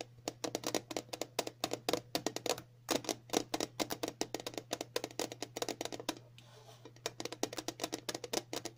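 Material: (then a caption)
Plastic. The round, glossy lid of a dog flea-collar package, roughly palm to hand size, probably plastic and sitting on a hollow container, is tapped rapidly with the fingertips and long natural nails of both hands. Dozens of quick, bright clicking taps with hollow, mid-pitched bodies come in fast uneven bursts, pausing briefly just after six seconds before resuming. A faint steady low hum runs underneath throughout.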